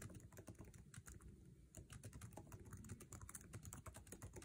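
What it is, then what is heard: Laptop keyboard, typing. Fingertips tap fast across the plastic keycaps of a MacBook Air keyboard set in an aluminum chassis, typing in a rapid, aggressive burst. Each keystroke is a short, dry click with a bright top and a low thud underneath, and the clicks run continuously with a brief lull in the middle. "normal" is false with no reason given.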